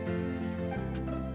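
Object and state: Nothing is struck.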